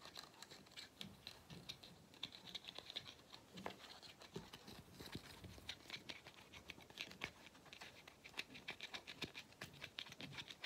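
Fingernails tap and scratch the black rubber/plastic end cap of a small hollow vacuum cleaner filter held close by. The result is a quiet, continuous patter of many fast, short, dry clicks and scrapes with a bright, high-leaning tone and little low end.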